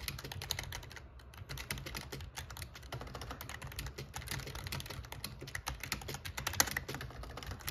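Fingertips of one hand type on the black plastic keycaps of an RGB plastic membrane gaming keyboard with a metal plate. The result is a rapid, steady stream of short, bright clicks and clacks with very little ring, over a constant low hum.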